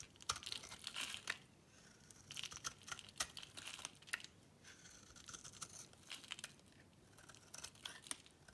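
A solid, hand-sized bar of dry green soap is held in the palm and shaved with a metal box-cutter blade, cutting off crunchy flakes that fall onto a pink cloth. Quiet, dry, crisp scraping and crunching come in short bright bursts with brief pauses between strokes, and almost no low end.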